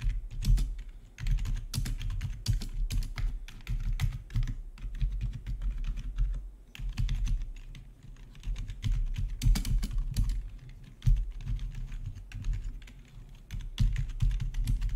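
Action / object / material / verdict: tap / plastic membrane keyboard / plastic / none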